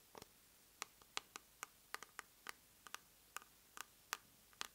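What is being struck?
Small plastic cosmetic jar.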